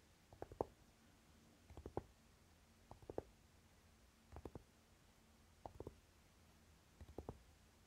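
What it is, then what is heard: Velvet-covered eyeshadow palette case. Short fingernails tap and scratch the dark velvety lid of a closed Naked eyeshadow palette, with the hands moving quickly at the end. About six quiet bursts of quick, muffled, dry taps arrive every second or so, each dying away at once with almost no bright edge.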